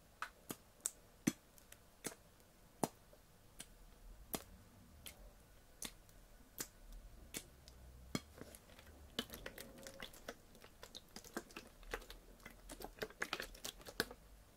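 A clear 50cl Bezoya PET water bottle, hollow and partly full of water, is held in both hands and tapped or squeezed with long painted fingernails. Sharp, bright clicks and taps ring out one by one at first, then come in quicker, denser clusters in the second half. A soft low rumble sits beneath them.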